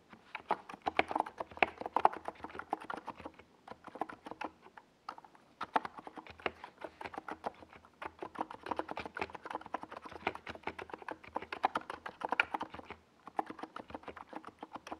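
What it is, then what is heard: Plastic mechanical keyboard with SA keycaps. Fingertips of both hands type on a compact 68-key NiZ Plum Atom 68 mechanical keyboard with a white plastic case and tall purple and yellow Domikey Gas Attack SA plastic keycaps, resting on a desk pad. Rapid, dry plastic clacks with a mid-range body and very short decay pour out in dense bursts, broken by brief pauses near 4 and 13 seconds.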